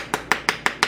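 A spoon taps five times on a plastic mold holding a bath bomb, giving short, bright, hollow clicks with a mid-high ring around 1.8 kHz that fades almost at once. The hollow tone shows the mix is no longer sticking to the mold, and the bath bomb comes loose and comes right out.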